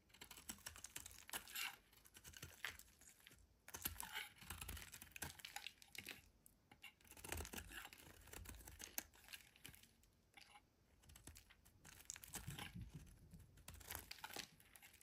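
A solid, rounded white bar of soap held in the hand is shaved with a metal utility blade into curly flakes that pile up beside it. The clip is full of quick, crisp scraping and crackling strokes, bright and dry with almost no ring. They come in bursts separated by brief quiet gaps.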